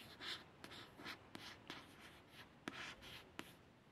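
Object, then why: Glossy card paperback cover. A long fingernail traces over the letters on the solid, glossy card front cover of a paperback book, making light, bright scratching and rubbing sounds. Five short, sharp ticks stand out as the nail catches.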